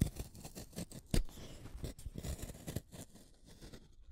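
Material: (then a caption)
Wood. A small, solid orange wooden colored pencil is shaved with a utility knife blade, peeling off curls of wood. Short, dry scraping strokes repeat at an uneven pace, each a brief crackly shave with a bright edge over a soft low body. The strokes die away quickly with no ring.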